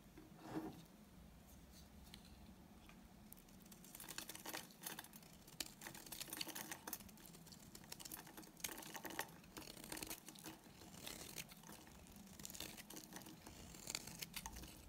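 A solid, dry, white rectangular bar of soap, hand-sized and held in the hand, is shaved with a utility knife blade so that curls of soap peel off. The result is a quiet run of crisp, bright scraping and crackling strokes, with short bursts rising over a soft hiss.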